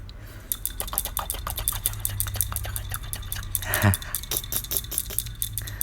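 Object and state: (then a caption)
Low-pressure household gas regulator, rattles when shaken. A metal low-pressure gas regulator from a household stove has its knob shaken, producing a rapid series of light, bright rattling clicks over a low background hum. The rattle marks it as a low-pressure household regulator rather than the high-pressure type used by fried-rice vendors.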